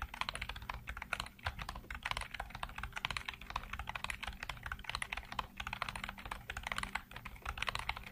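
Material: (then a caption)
Plastic. Fingertips tap the hollow keycaps of a black plastic computer keyboard in fast typing. The result is a dense, steady stream of short, bright plastic clicks over a faint, constant low hum.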